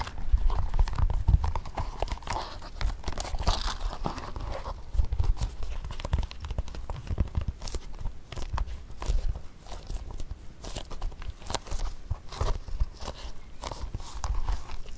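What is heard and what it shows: Fingertips and nails tap and scratch the glossy toe and sides of a single empty black leather court shoe held over carpet. The hollow shoe gives a rapid, steady stream of soft, dull taps with a low thump, mixed with faint scratchy rustling. Each tap dies away almost instantly.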